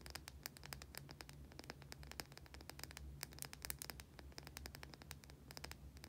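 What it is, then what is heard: Bar of soap. A white solid oval bar of soap held in both hands is scratched and tapped with long painted nails. Quick, dry, bright clicks and scrapes follow one another in a dense, irregular stream over a low, steady hum.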